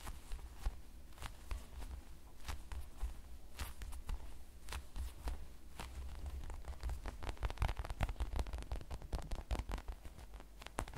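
A hand-sized, toast-slice-shaped squishy of solid polyurethane foam with a light brown crust edge is held in both hands, squeezed and tapped with the fingertips. Soft, dull taps and quick crackly clicks come in an irregular patter over a low, muffled rumble. The taps grow denser and busier toward the end.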